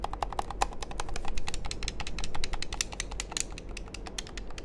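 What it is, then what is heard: Plastic game controller being tapped and clicked. A small hollow black plastic handheld game controller is held in the hand close to the microphones while fingertips and nails press, click and tap its buttons and shell. The result is a rapid, uneven stream of short, bright plastic clicks and taps over a steady low hum.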